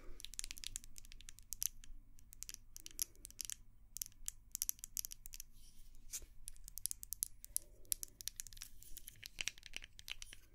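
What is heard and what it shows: Long nails tap and scratch a small white glass candle jar with a dark lid. Quick, bright clicks and scratchy rasps come in dense clusters over a steady low hum, each tap dying out almost instantly. The whole clip stays quiet.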